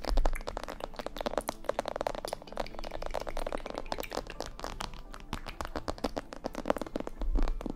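Long painted nails on both hands tap and scratch the sides and ear areas of a life-size glossy black plastic mannequin head, likely hollow. A steady, dense run of quick, crisp clicks and light scratches carries a dull hollow low thump beneath, each tap dying away almost at once.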